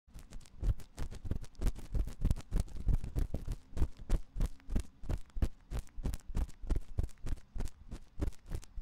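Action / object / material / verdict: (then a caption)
scrape / silicone microphone ear scratched with a thin metal pick / silicone / none. A thin metal ear pick, held in the fingertips, scratches inside the ear canal of a white silicone ear on a 3Dio microphone. The result is a fast, slightly uneven run of short, close, muffled scrapes, about three per second, each heavy in low rumble with a brief bright edge.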